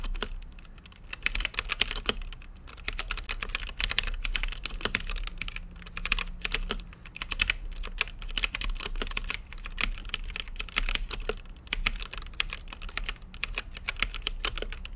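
Fingertips type steadily on a mechanical keyboard with plastic keycaps and a translucent lit case. It produces a fast, continuous stream of sharp, bright clicks that stop instantly with no ring, over a low rumble.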